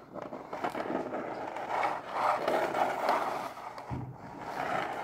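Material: Cardboard.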